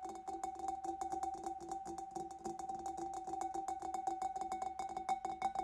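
Fingers and nails tap rapidly on the back and sides of a large, hollow, empty clear glass fish bowl. The result is a quick, steady stream of light clinks, each with a short, clear ring around 780 Hz and a bright, high edge.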